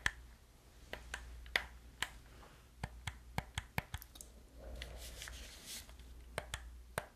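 Fingertips and nails press the buttons and tap the shell of a hollow black plastic gamepad held in both hands. About 17 sharp, dry clicks and taps ring out with a bright tone near 2 kHz, with a softer scratchy rustle in the middle. Each hit dies away almost instantly against a faint low hum.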